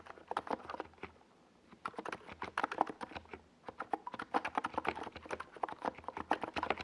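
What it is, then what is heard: Plastic mechanical keyboard. Both hands type with their fingertips on a NiZ Plum Atom 68, a compact 68-key mechanical keyboard with a hollow white plastic case and purple and yellow plastic Domikey Gas Attack SA keycaps, resting on a desk pad. Quick bursts of sharp, clacky keystrokes, centred around 780 Hz, die away almost instantly. Two brief pauses break up the steady typing rhythm.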